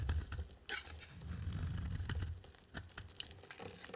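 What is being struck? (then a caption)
Bar of soap shaved with a knife blade. A solid white soap bar with a yellow outer layer, held in the hand, is shaved with a utility knife blade, peeling off flaky curls. Dry, rough scraping comes in steady strokes over a low rumble, punctuated by crisp, bright ticks and crackles as the curls break away.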